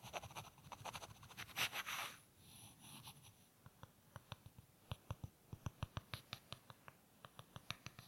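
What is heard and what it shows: Two small, solid, light-wood rectangular blocks are held in the fingertips and rubbed against each other, making a dry, bright scraping that peaks in a louder rasping burst. The scraping then gives way to a long run of quick, sharp wooden taps with almost no ring, some louder than others.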